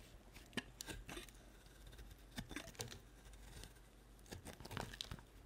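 A solid white bar of soap, held in hand, is cut with a utility-knife blade into flat chips. Quiet, crisp scraping and crackling cuts come in short, bright bursts over a steady low hum, with a few sharper snaps standing out.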